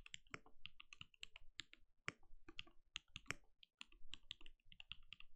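Steady typing with the bare fingertips of both hands on a compact RGB-lit mechanical keyboard with a translucent plastic case and plastic keycaps, resting on a desk. It makes a quick, continuous run of short, crisp keystrokes, each with a bright clack over a soft low thud, ending almost instantly with no ring.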